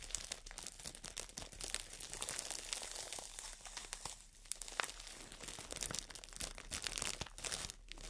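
Long nails scratch and squeeze a green floral foam brick wrapped in clear plastic, then the brick is held up and the wrap is crinkled. The result is a dense, quiet stream of bright plastic crinkles and sharp crackling ticks with little low end and no ring after each sound.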